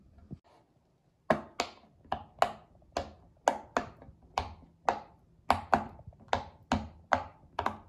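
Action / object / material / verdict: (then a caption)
tap / silicone pop-it fidget toy / silicone / none. A child presses the hollow bubbles of a round pink silicone pop-it fidget toy with her fingertips. After a faint tap and a short pause, 15 sharp, hollow pops follow at a steady pace, each with a bright click and a mid-pitched body that dies away almost at once.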